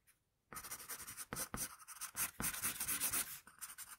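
A wooden pencil shades and scratches lines across a flat paper sheet. After a brief near-silent moment, dense, bright, scratchy graphite strokes run in quick overlapping bursts with short dips between them. The sound stays thin and high with very little low end, fading at the close.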